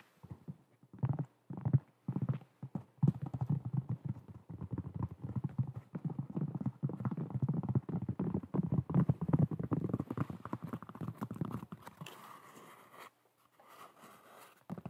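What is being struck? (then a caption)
Molded foam clog-style shoe. A hollow, empty white molded foam clog-style shoe with cut-out holes is held in both hands close to the mic and tapped and scratched with long acrylic nails. Rapid, dense, low-pitched hollow taps and scratches run almost continuously. Near the end they fade into softer, brighter, breathy rustling.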